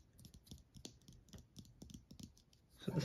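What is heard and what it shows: Fingertips and nails tap and click on the embossed metal lid of a small, round, silver metal candle tin held in the hand. A quick, uneven series of light clicks and soft ticks carries bright edges over a dull low body. It ends in a louder, rougher handling sound.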